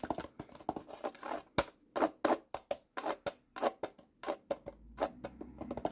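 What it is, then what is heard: Plastic toy shipping container. Fingertips and nails tap rapidly on the ribbed sides and top of a small hollow blue plastic model shipping container. A quick, uneven run of sharp plastic clicks and scratchy ticks follows, each with a hollow midrange knock. Every hit dies away almost at once.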